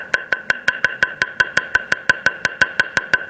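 A wooden table tennis racket blade is knocked 18 times in a steady rhythm, with the microphone moved closer to it. Each knock is a short, dry, crisp tap with a bright tone around 1.5 kHz that dies away almost instantly. The blade sounds crisp and normal.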